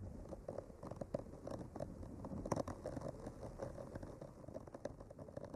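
A bamboo skewer with a clipped-on mic slowly traces along the painted lines of a flat, solid, painted wooden art panel. It makes a quiet, continuous, dry scratching and scraping, dotted with soft, brief ticks and a faint midrange tone.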